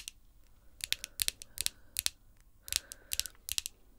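Long glossy pink acrylic nails on both hands tap and scratch against each other, making sharp, bright clicks in quick clusters with faint scraping between them. The clicks are dry and stop at once, with almost no low end.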